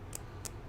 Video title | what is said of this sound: Let's clean my Room!!!! | hear my nail tapping on the polish